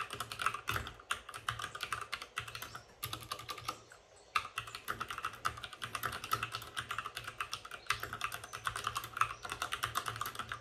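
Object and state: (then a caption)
Plastic mechanical keyboard being typed on. A white RGB-backlit mechanical keyboard with plastic keycaps and a hollow plastic case is typed on quickly with the fingertips of both hands. It gives a dense stream of short, bright, clacky key hits centered around 1.3 kHz, with almost no low end and a brief lull just before the 4-second mark.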